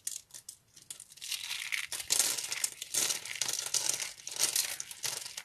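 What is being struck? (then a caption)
Soap flakes. A pile of small dry yellow soap flakes is squeezed and crushed by fingers and palms. Dense, dry crunching and crinkling rises in uneven bursts, almost entirely high and bright with nothing in the low end.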